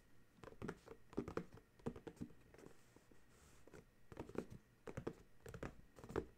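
Fingertips and nails rub, tap and scratch the top face of a small white and purple printed cardboard dryer sheet box, full of sheets and resting on a towel. Quiet, dull, hollow taps come in irregular clusters, with soft scratchy rubbing between them. Each tap dies away almost at once.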